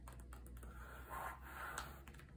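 Fingertips with painted medium-length nails tap and scratch across the glossy pages of an open Vogue magazine, a thin, solid stack of glossy paper lying flat on a table and open to a Fendi ad spread. Quick, dry clicking taps are mixed with softer scratching and rubbing swells, all heard over a steady low hum.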